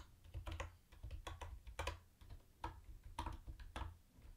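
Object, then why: Plastic keyboard with round plastic keycaps. Fingertips type on a mint-green plastic retro keyboard with round white plastic keycaps and a hollow case, tapping the keys one hand at a time. The result is an uneven run of short, clicky clacks, each with a hollow low thud underneath and a brighter tick on top, dying away almost instantly.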